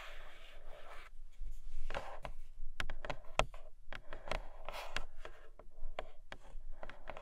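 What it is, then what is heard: Cardboard box with plastic window, tapped and scratched. Long fingernails tap and scratch the clear plastic window and edges of a flat grey cardboard Nomad box. A soft, hissy scratching opens the clip, then gives way to a run of sharp, dry, bright clicks mixed with brief scratchy rubs. Each tap stops almost instantly, with no ring.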